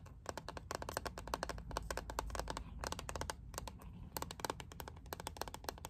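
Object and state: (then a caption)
Plastic hairbrush. A lilac plastic paddle hairbrush with a liquid-glitter back is held close and tapped with long painted nails. Quick, dry, clicky taps come in rapid bursts with brief pauses, each snapping off almost instantly with a bright edge over a soft low rumble.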